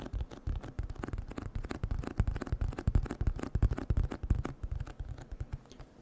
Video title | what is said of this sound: ASMR Eating DELICIOUS Cream Cheese Wontons Mukbang (Whispered Rambling & Box Tapping) | This is a good box for tapping. It's a little bit of a thicker cardboard